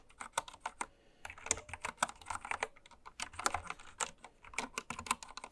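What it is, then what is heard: Plastic mechanical keyboard being typed on. A full-size white-cased mechanical keyboard with pastel plastic keycaps, lying on fabric, is typed on continuously with long red nails and fingertips. Quick, bright, clicky keystrokes patter in uneven bursts, each dying away almost instantly, with little low-end weight.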